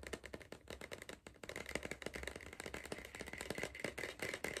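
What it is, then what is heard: Cardboard crisp tube. Fingertips tap rapidly on the lower side of a tall, hollow green cardboard Pringles tube held at an angle. The result is a fast, dry, papery patter of short hollow knocks with a slight rattle.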